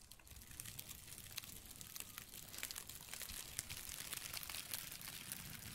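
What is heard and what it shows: Gloved fingertips crinkle and scratch the flaky surface of a thin, flat, layered piece of light brown dried tree bark held close to the microphone. The result is a quiet, steady stream of bright, dry crackles and tiny sharp clicks over a faint low rumble.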